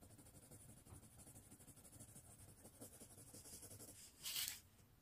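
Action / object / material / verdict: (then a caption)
scrape / paper sheet rubbed with a coloured pencil / paper / none. A blue colored pencil rubs and scratches across a thin white paper sheet resting on a wooden tray, held flat by one hand, while shading. A quiet, steady, bright scratchy hiss runs throughout, with a sharper, louder stroke near the end before it settles back to a soft rub.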